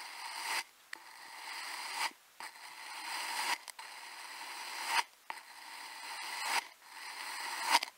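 A white plastic cutting tool with a yellow handle slices through small, solid, crescent-shaped slabs of purple kinetic sand on a white surface. Six separate cutting-and-scraping strokes each swell into a gritty, bright hiss and end in a crisp little crunch, with brief silences between them. There is no low rumble, only a dry, granular rasp.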